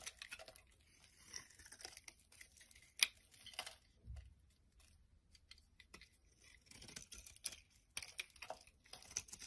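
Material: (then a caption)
Soap. A metal knife blade carves a solid, hand-sized mint green soap bar held in the hand into long shavings. Quiet, bright, crisp scraping and tearing comes in uneven bursts, with one sharp click near the three-second mark and a soft low thump shortly after.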